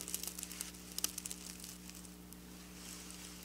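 Long black nails on both hands scratch and rub over rows of flat silver plastic sequin fabric resting on a surface. A quick run of bright, crisp clicks and crinkles comes in the first second and a half, then softens into a quiet, hissy rustle over a steady low hum.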